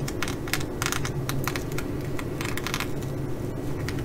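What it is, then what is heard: Sequin fabric bag. Long nails on one hand tap and scratch the flip sequins of a blue reversible sequin fabric bag. Quick, irregular bright clicks and rustling scrapes come in clusters over a steady low hum, at a fairly even level throughout.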